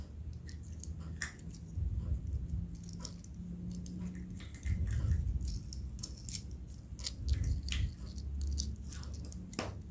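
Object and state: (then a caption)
Plastic toy car. A small, solid blue hard-plastic toy car with black plastic wheels is held in both hands while fingertips with short painted nails handle, rub and click its body and wheels; unopened Kinder eggs lie nearby untouched. Quick, dry, bright clicks and light taps come in an uneven stream over a soft low rumble and faint scraping rubs.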